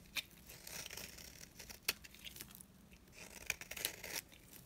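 A dry yellow bar of solid soap is held in the palm and scraped with a box-cutter blade. The blade makes quiet, bright scratchy scraping strokes with a few sharper clicks. The sound is mostly high-pitched with little low end.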